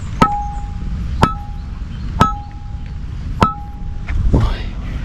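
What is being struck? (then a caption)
Ancient stone bell knocked with a rock. An ancient stone bell at Wat Bandai Hin, Lopburi, is knocked with a heavy hand-held rock. Four clearly separated knocks each give a sharp, clinking strike with a short ringing tone near 800 Hz and 1.3 kHz, followed by softer, duller taps without the ring. The ringing is normal for the bell.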